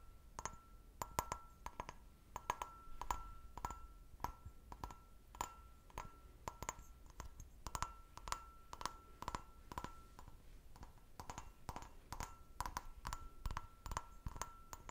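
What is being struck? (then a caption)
Glass snifter. Fingernails tap quickly on the bowl of an empty, clear, medium-sized stemmed glass brandy snifter. The result is a rapid, irregular series of light, sharp clicks, each with a brief glassy ring around 1 kHz that dies away almost at once.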